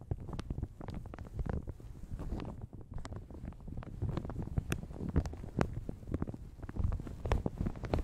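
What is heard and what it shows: Fingertips and nails crinkle and rub a light blue plastic shower cap stretched over a large hollow Yeti microphone. The result is a steady, dense stream of soft crinkling and rustling with deep, boomy low rumbles. Quick, sharp crackles and taps cut through the rustling throughout.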